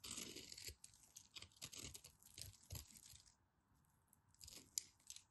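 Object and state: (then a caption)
Bar of soap being carved. A craft knife scrapes a solid orange bar of soap and digs out crumbly chunks. Dry, bright crunching and scratching come in quick bursts with a soft low thud beneath, then pause briefly before a few more crisp scrapes and a sharp click near the end.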